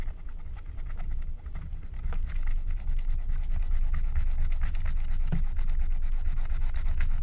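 A wooden stylus scrapes the black wax coating off a flat, thin, wax-coated paper scratch-art card in rubbing strokes. The result is a steady, close scratchy rasp of quick repeated strokes over a low rumble, with faint bright ticks, growing slightly louder after the first two seconds.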